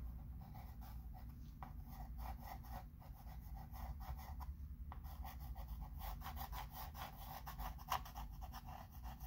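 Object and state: Chalk pencil writing on a wood-framed chalkboard.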